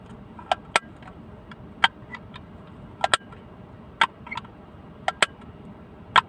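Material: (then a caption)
Plastic. A small blue plastic hinged box, held in one hand, is opened, closed and tapped with fingernails. Sharp, bright clicks and ticks come at irregular intervals, often in quick pairs, over a faint background hiss. Each click dies away almost at once, with little low end.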